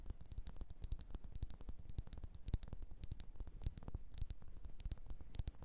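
Long orange nails tap and scratch the faceted sides of a hand-sized, solid red wax pillar candle. Quiet, irregular, rapid taps land as dull, low thuds with bright, crisp clicks on top, mixed with soft scratching. Each tap dies away almost instantly.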